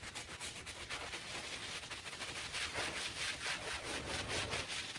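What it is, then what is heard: Woven fabric rug being scrubbed. A small, very dirty fringed woven fabric rug, wet with foam, is scrubbed in circles with a handheld bristle brush. The result is a steady, bright, hissy scratching of bristles on wet fabric, pulsing in loosely rhythmic strokes at about two per second and growing slightly louder toward the end.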